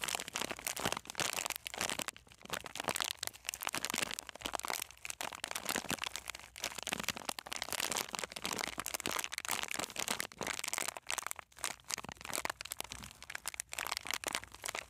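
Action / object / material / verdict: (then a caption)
scrape / plastic-film snack bag with coated peanuts inside / plastic film / none. A full, sealed plastic-film snack bag of coated peanuts is held in both hands and squeezed and rubbed with the fingertips. It makes continuous bright crinkling of the wrapper mixed with dense, sharp crunching of the peanuts inside, with almost no low end.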